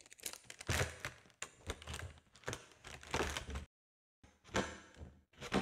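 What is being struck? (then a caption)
Mylar foil balloon. A large, hollow, air-filled silver foil (mylar) balloon with crinkled seams is tapped and scratched with long nails and squeezed. This produces irregular bursts of crinkling and rustling with soft thumps. A short silence falls just before the four-second mark, then the crinkling resumes.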